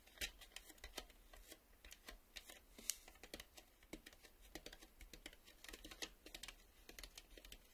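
A plastic VHS video cassette is tapped with the fingertips in a quick, irregular series of light taps. Each tap is a short, dry, bright click with almost no ring, heard quietly against a low background hum.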